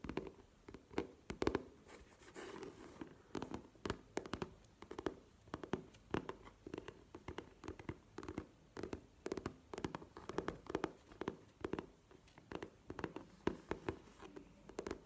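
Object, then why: Faux leather zip pouch. Long nails tap and scratch a map-printed faux leather zip pouch standing upright. Quick, sharp, quiet taps come in irregular bursts, mixed with brief scratchy rubs. Each tap has a soft, low-mid thud and dies away almost instantly.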